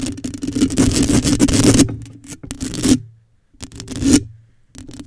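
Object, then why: Metal mesh microphone grille. Long acrylic nails rub and scratch the hollow metal mesh grille of a black microphone. A dense, raspy scratching comes in bursts separated by short silences, with a hollow, resonant low tone ringing through the mesh.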